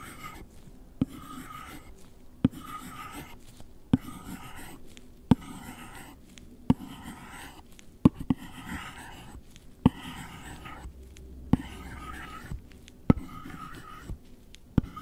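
A gloved hand scratches and traces the plastic tip of an Apple Pencil across the lid of a closed, long, flat, hollow white cardboard box that seems empty. Soft, dry rasping strokes fill the clip, broken by short, sharp ticks that recur about every one and a half seconds.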